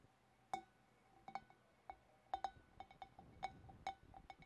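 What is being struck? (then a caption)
Glass fish bowl. Long black nails tap with both hands on the shoulders of a large, hollow, empty clear glass fish bowl, about fifteen light taps in an irregular rhythm. Each tap is a bright, glassy clink with a clear ringing tone near 780 Hz that dies away almost at once.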